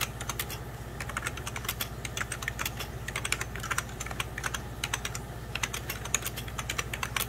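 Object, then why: Plastic computer keyboard. Fingertips of both hands type on a hollow, beige 1990s Packard Bell plastic computer keyboard. Quick, bright plastic key taps clatter in a steady, uneven stream, each click short and dry, over a faint low hum.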